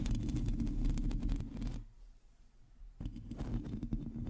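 Long teal acrylic nails scratch the hollow metal mesh grille of a black microphone, producing dense, rapid, rumbling scrapes that are heavy in the low end with faint bright crackle on top. The scratching drops to near quiet for about a second, then starts again with the same low, rough texture.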